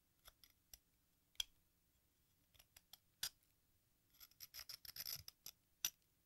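A metal craft knife blade scrapes and shaves powder off the red face of a hand-sized solid sidewalk chalk block painted as a watermelon slice with a green rind, held over a pink plastic bowl. Short, dry, bright scraping strokes come in scattered bursts, then cluster into a quicker run of scrapes near the end before one last sharp scrape.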